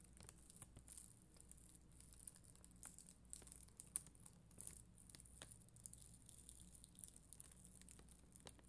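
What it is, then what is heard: Acrylic rhinestone sticker sheet being brushed. A spoolie brush brushes and scratches across a flat sticker sheet of red and clear acrylic rhinestone gems, with long green nails nearby. It makes quiet, steady scratchy crackles and soft ticks with a bright hiss over a low hum underneath, with one sharper click near the middle.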